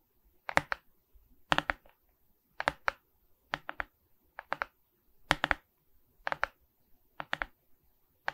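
Long red nails scratch across a Mickey Mouse diamond painting of resin rhinestone beads on a wooden-framed canvas held upright. Nine short bursts of crisp, bright scratchy clicks come in quick double and triple strokes, separated by near-silent pauses, and each stroke dies away almost immediately.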